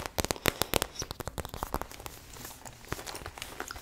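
Long nails tap and scratch a hollow, medium-sized, lime-green glossy patent vinyl bag shaped like a frog's face. A quick, uneven run of sharp, dry clicks with bright crackle comes first, then fades into softer scratching and lighter taps.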